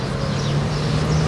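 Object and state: Nothing is struck.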